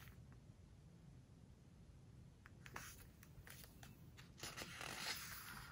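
Hands lift, turn and press the glossy printed pages of a home decoration book with fingertips and long nails. A quiet, low background hum gives way to bright, crinkly swishes and scrapes of the paper, growing louder and busier in the last couple of seconds.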